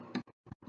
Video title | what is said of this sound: Pandemic Eat Along and Drink Along with a Tuna fish sandwich and Crown Royal! | just barely tap it do you hear it like crack a little